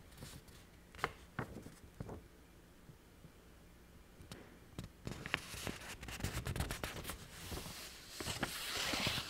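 A single thin sheet of illustrated letter paper with a puppy and flower-basket print is held in both hands, flexed and scratched by long painted nails. Sharp, crisp crackles and scratches come in irregular bursts over a quiet background. The sound grows denser and brighter toward the end with rustling and crinkling.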